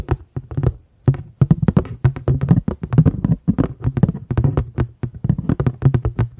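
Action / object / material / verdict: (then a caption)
tap / paper plate / paper / none. A paper plate is tapped rapidly in an uneven rhythm, giving a steady run of soft, dry, hollow taps. Each tap is short with almost no ring, and the sound sits mostly in a low, muffled thump around 100–200 Hz.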